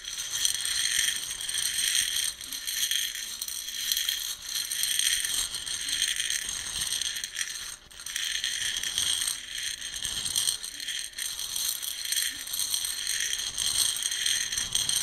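Fingertips stir and rub through roasted coffee beans filling a round, light plastic container. The result is a dense, bright rattling and rustling with almost no low end, rising and falling in waves as the beans shift and click against each other and the plastic.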